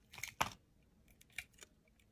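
A solid white soap bar held in the hand is shaved with a utility knife blade, flakes coming off the top edge as the blade slices through. Short, dry, crisp scraping cuts are heard, with the loudest slice early on and fainter bright scrapes after a pause, with no ringing between them.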